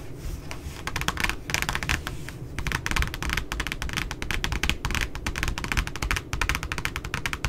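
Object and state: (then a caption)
Spiral notebook cover. Long nails and fingertips rapidly tap and scratch the glossy cardstock back cover of a puppy spiral notebook, which lies flat with its barcode showing. The result is a dense, uneven stream of sharp, bright clicks and light scratching over a soft low thud, each tap dying away almost at once.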